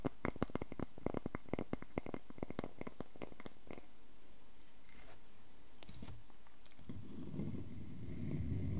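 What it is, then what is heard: Wooden log slice. A solid wooden log slice is handled: fingernails scratch along its bark edge while it is held, and fingertips tap and scratch the cut face as it rests on a table. Quick, crisp clicking taps come in a rapid run for the first few seconds, then give way to quieter scratching. The clip ends with a low, rumbling rub.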